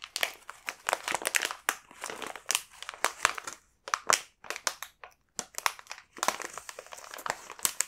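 A large, full, sealed multipack of coconut sable biscuits in a glossy foil-lined plastic wrapper is held in both hands and handled so the wrapper crinkles, then a fingertip points to and rubs its surface. The result is a run of sharp, bright crinkles and rustles in quick bursts with brief pauses, crisp and dry with no low rumble.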